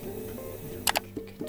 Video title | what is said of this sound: 도예과 김민정 선배 | 叩いてこの厚さがどれくらい残っているのかを私たちが確認します